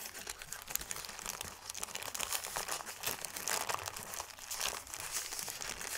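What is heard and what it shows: A thin white crumpled paper sheet is smoothed and crushed with both hands, making a dense, continuous crinkling and crackling. The sound is bright and papery, with many quick rustling snaps and almost no low end.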